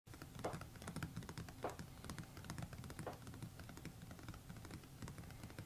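A closed A5 hardcover notebook with a textured, embossed red paisley cover, apparently covered board, lies flat on a map while both hands tap it rapidly with fingertips and short nails. The result is a quiet, continuous patter of soft, low thuds mixed with faint, brief clicks from the nails. The solid cover, backed by pages, damps each tap so it dies away quickly.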